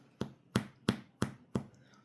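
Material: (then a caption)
Bread. Five quick taps on the tops of two sandwich bread loaves, baked about 25 minutes at 350, give short, dull, hollow knocks with a low thump and almost no ring. The hollow sound shows the bread is baked through and ready.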